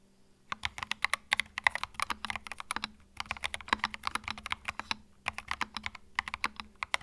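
Fingertips type continuously on a compact white mechanical keyboard with plastic keycaps. Dozens of quick, bright, clacky keystrokes with a crisp click around 2 kHz come in rapid bursts, separated by brief pauses near 3 and 5 seconds. Each key hit is short and dry, with almost no ring.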